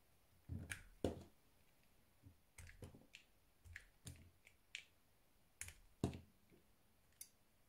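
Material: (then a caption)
Soap. A blue-handled metal knife carves thin slices off the corner of a solid white rectangular soap bar held close. The cutting and scraping make about fourteen quiet, crisp snaps and clicks, each with a soft low thump and a brief bright edge that dies away quickly between gaps of near silence.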